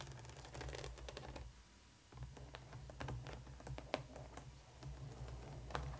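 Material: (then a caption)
Plastic. A hollow black plastic coffin-shaped toy doll case with pink and yellow plastic compartment doors lies flat and is rapidly tapped and scratched with long painted nails of both hands. Quick, dry clicks and taps sound close together over a low hum, with a brief quieter pause near the middle.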